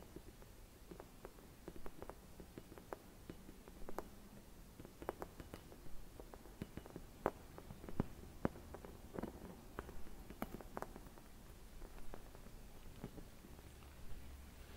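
Long red nails tap and scratch a hollow, empty, palm-sized clear glass Christmas bauble with white painted decoration, held at the edge of the frame. Quiet, irregular clicks and soft scraping come over a faint low rumble, with short dry taps that barely ring.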